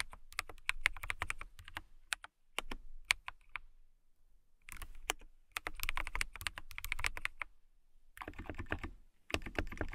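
Long nails type on a clear acrylic mechanical keyboard with transparent keycaps, making rapid, bright, clacky keystrokes over a soft low thump. The typing comes in bursts with brief pauses, and each click stops dead with no ring.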